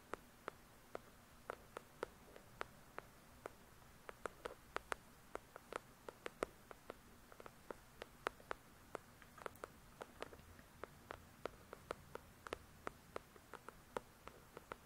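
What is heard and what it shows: Long pointed nails tap quickly on the glossy card cover of the solid-paper paperback novel "The Shack." About 48 sharp, dry clicks come in an irregular, quick rhythm, each bright and gone almost instantly. The clicks sit over a very quiet, steady low background.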